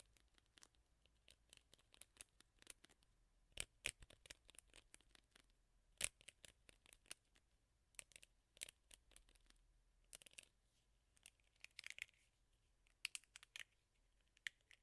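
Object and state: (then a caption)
Plastic hairbrush scratched. Long nails scratch across the black rubber bristle pad of a teal plastic hairbrush. The result is a quiet, steady run of crisp, bright ticks and scratchy clicks that stop almost instantly, with little low end and occasional louder snaps.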